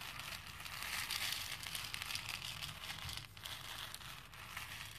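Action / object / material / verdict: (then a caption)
shake / small plastic beads in a plastic bowl / plastic / none. A hand with painted nails stirs and rubs a pink plastic bowl full of small plastic faux pearl beads. The beads give a steady, quiet stream of bright, crackling clicks and rattles. The sound stays mostly high, with a faint low rumble underneath.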